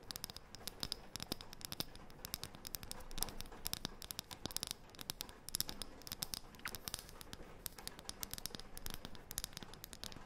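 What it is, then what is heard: Wooden disc tapped and scratched with fingernails. A thin, round, light, solid wooden disc is tapped and scratched rapidly with long painted fingernails. The result is a dense, steady stream of quiet, bright, dry clicks and scratchy rustling, each tap dying away almost instantly.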